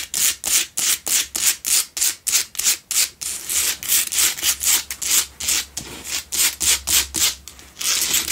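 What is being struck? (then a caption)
Rough-cut salt block candle holder. Nails rapidly scratch the rough faces of a lit pink Himalayan salt block double candle holder made of solid salt. The result is a run of bright, hissy rasping strokes at roughly three per second, each one short and dry. The strokes blur together somewhat in the second half.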